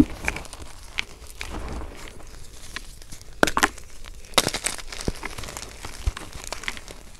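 Bare hands squeeze and crumble a mass of broken white gym chalk (magnesium carbonate) chunks and powder in a teal plastic basin, working the solid, brittle pieces with fingers and thumbs. A steady run of dry, crunchy, powdery crackles is heard, with louder sharp breaks standing out midway. Each crunch stops instantly with no ring.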